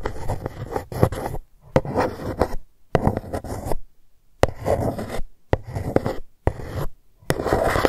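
A long fingernail traces and taps the embossed GUCCI letters on a dark cardboard gift box lying flat. Short bursts of dry, rasping scratches with sharp little taps are separated by brief silences, and the sound stops dead with no ring.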